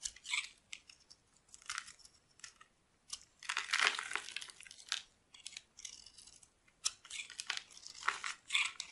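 A solid teal rectangular bar of dry soap, held in the hand, is carved into shavings with a metal knife blade. Crisp, bright scraping and crackling strokes come in short bursts and longer drawn-out cuts, with almost no low end. Each stroke stops dry with no ring.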